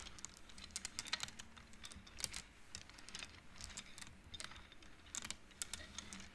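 Fingertips with long nails push the painted wooden beads along an upright wooden-frame abacus, so the beads clack together. The result is a quick, irregular run of dry, bright clicks with almost no ring, heard over a faint low hum.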